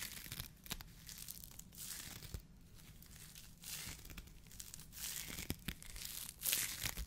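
A white polyethylene foam mesh fruit protection sleeve is squeezed and crinkled in the fingers of both hands. It makes a soft, continuous, bright crackling and rustling with sharp little pops scattered throughout, over a faint low hum.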